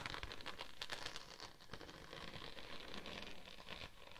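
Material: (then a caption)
Vinyl. Long acrylic nails and fingertips of both hands scratch and tap a thin, flexible purple holographic vinyl sheet with a raised scale pattern, draped over a microphone. The result is a dense, crinkly, rain-like patter of quick taps and scratchy rustling with bright, crisp edges, steady throughout.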